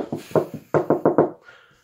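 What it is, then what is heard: Hollow-sounding interior wall. Knuckle knocks on an interior house wall, which was the outside wall before an extension was built and should be solid brick, give a few uneven knocks followed by four quick, even ones. Each is a short, dull, mid-pitched thud with little ring. The wall sounds hollow when it should sound solid.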